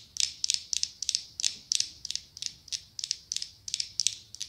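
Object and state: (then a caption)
Glass candle jar tapped with nails. A small ribbed orange glass pumpkin-shaped candle jar with a lid, held in both hands and apparently filled with candle wax, is tapped and scratched with long acrylic nails. Quick bright, clicky taps come in steady clusters of two or three with dry scratching between them. Each click is high and crisp with almost no ring and no low end.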